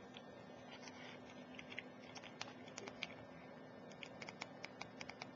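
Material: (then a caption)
Glass. Very long, pointed, glittery nails tap and scratch along a cylindrical glass Ajmal Shadow perfume bottle. The bottle is full of amber liquid, has a metal cap and collar, and lies on its side on a laptop keyboard. Quiet, bright, clicky taps with faint scratching come in irregular bursts over a low, steady hum.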